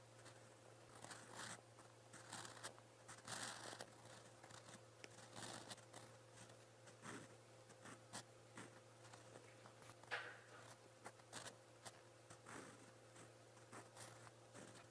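A silver steel fountain pen nib scratches across a lined white page of a spiral-bound notebook while writing blue Korean characters. Short, bright scratching strokes come in irregular bursts over a steady low hum.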